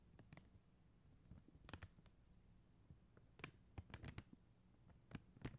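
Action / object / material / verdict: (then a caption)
tap / plastic gem sticker sheet tapped with fingernails / plastic / none. Long acrylic nails tap and scratch across a flat sheet of faceted plastic rhinestone gem stickers, making about a dozen quiet, sharp clicks with a bright, high edge. The clicks cluster irregularly over a low, soft background hum and die away almost instantly.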